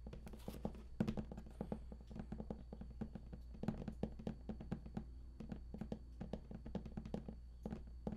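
Fingertips of both hands tap rapidly on the embossed panel edges of a large, hollow, printed cardboard collector's edition game box. The sound is a dense run of short, dry, hollow taps and thunks that die away almost instantly, over a steady low hum.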